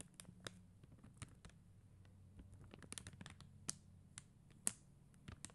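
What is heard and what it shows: Long acrylic nails quickly tap the plastic rhinestone gems on a flat sticker sheet with a white backing. The result is a rapid run of small, sharp, bright clicks with very short decay over a faint low background hum.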